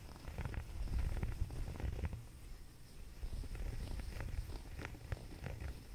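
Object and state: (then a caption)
Knit sweater being scratched. Fingertips and short nails scratch and rub a soft grey waffle-knit sweater bunched on a fuzzy blanket. The result is a low, steady rustling rumble with soft scratchy ticks scattered through it, mostly deep with little high content.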